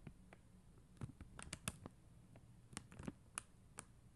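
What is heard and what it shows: Long mint acrylic nails tap and scratch a flat sheet of clear and blue plastic rhinestone stickers on white backing, lying on a glitter surface. Quiet, crisp little clicks and brief scratches land irregularly, each with a bright, sharp top and almost no ring, over a soft low background hum.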